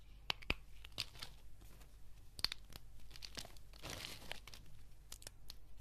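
Brittle green and white dried soap curls on a table are snapped and crushed between fingertips with dark nail polish. Sharp, bright crunches and snaps ring out over a soft, continuous crinkling and crumbling.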